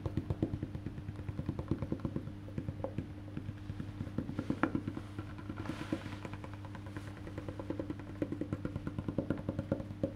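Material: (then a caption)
Wood. Fingertips and nails tap rapidly on the solid, black-painted wooden back of a face-down electric bass guitar, near the neck plate. The hits are short, dry knocks with a hollow woody tone around 300 Hz and a steady low hum beneath. Each one dies away almost at once, with a few sharper nail clicks scattered through.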